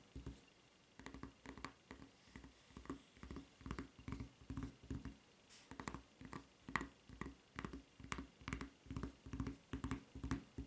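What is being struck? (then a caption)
Rubber flip-flop sole and strap. Long red nails tap and scratch a solid white rubber flip-flop footbed with a serrated surface and its red rubber strap. About forty quiet, dull taps with a low thump and brief bright scratchy edges come in an uneven rhythm, roughly two per second. Each one dies away almost instantly.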